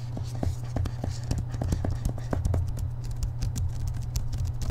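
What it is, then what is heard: Hardcover book with paper dust jacket. Fingertips and short nails of one hand tap quickly on the back cover of a thick hardcover book held upright, with a purple glossy paper dust jacket. Rapid, dull taps with short bright clicking edges sit over a steady low hum.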